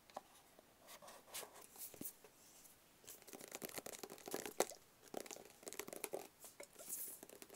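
A small, hollow, rigid black cardboard box is held in both hands and tapped with fingertips and nails. Quiet, dry, quick taps with a hollow mid-range knock and bright, scratchy clicks come in uneven bursts with short pauses, each tap dying away almost instantly with almost no low end.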